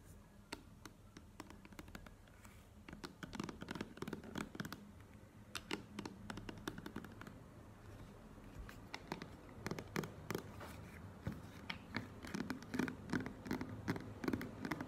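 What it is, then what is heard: Plastic cream tube. A plastic squeeze cream tube lying on a table and then stood upright is tapped with long nails, giving quick, irregular, dry clicks with a low hollow body over a quiet background. The taps grow louder and denser toward the end.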